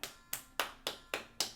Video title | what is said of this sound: How To Start Montessori at Home: EFFORTLESS Montessori Shelf Setup | I can knock it and it sounds different this is a real um wooden block here